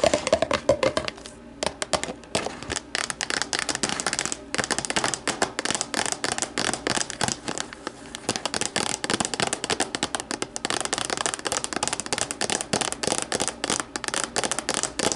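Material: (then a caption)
Plastic. Long nails tap and scratch the base and sides of an empty, hollow, translucent plastic deli container sitting upside down on a table. A dense, steady run of quick, crisp clicks mixes with bright scratchy rasps. Each tap dies away almost instantly, with little low end.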